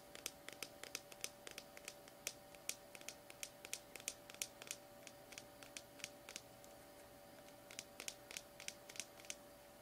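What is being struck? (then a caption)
Small plastic tub. Medium-length painted fingernails tap and scratch a small cylindrical plastic Orb Slimy Horror slime tub with a paper/plastic label, sealed and full of slime, held in both hands. The result is a quiet, steady stream of sharp, bright clicks with almost no ring, separated by soft scratching, over a faint constant hum.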